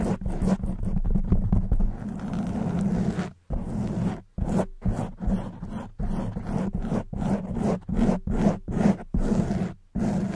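Long white nails and fingertips scratch and rub the sides of a soft black foam windscreen on a silver condenser microphone. The result is a dense, muffled, low-heavy scraping and rustling with a droning hum around 184 Hz, broken into irregular bursts by brief silent gaps.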